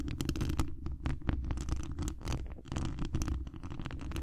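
Long acrylic nails on both hands scratch the hollow mesh wire grille on the dome head of a large cylindrical condenser microphone. The result is a continuous, dense, low rumbling scratch with a boomy undertone and fast crackling strokes, dotted with brief bright ticks.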